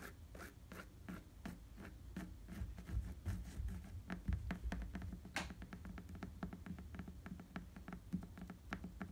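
Fingertips scratch and tap on the treaded surface of an inflated tan rubber bicycle tire. The result is a quick, uneven patter of soft, dull taps with a low thump and brief scratchy ticks that die away almost at once.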